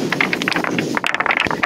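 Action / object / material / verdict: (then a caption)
knock / rounded beach pebbles / stone / none. Rounded pebbles on the ringing stone beach in Tōhaku, Tottori knock together in a rapid series of dry, bright clacks. Each click is short, with a slightly ringing tone around 2 kHz and little low end.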